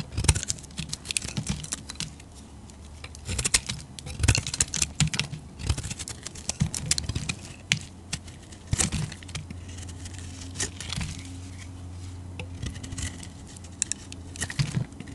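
A solid olive-green bar of soap is shaved into curls with a metal blade, making a run of short, dry scraping and crackling cuts with a bright, crisp edge. The cuts come in uneven bursts, with quieter stretches between them, over a steady low hum.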